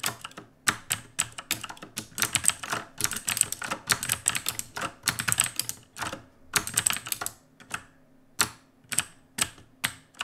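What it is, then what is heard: Plastic mechanical keyboard. Fingertips of both hands type on a black, RGB-lit mechanical keyboard with plastic keycaps. The result is quick, irregular bursts of sharp, bright clacking keystrokes that decay almost instantly, with a few short pauses between runs of typing.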